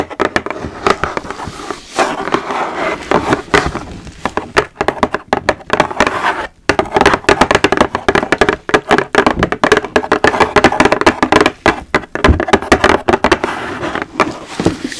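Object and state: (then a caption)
Cardboard shoe box. A large, flat, pale-pink Jimmy Choo cardboard shoe box lid, held up in both hands, is tapped and scratched with very long, pointed, jeweled acrylic nails. The result is a continuous stream of quick, dry, hollow taps mixed with papery scratching, mostly in the midrange, each tap dying away almost instantly.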